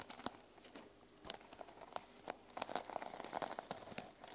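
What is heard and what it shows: Long nails and fingertips scratch and brush the teal plastic sequin cover of a small notebook resting on a wooden table. The result is a quiet run of crisp, crinkly scratches and quick bright clicks that die away almost instantly, with most energy in the mids around 700 Hz and almost no low end.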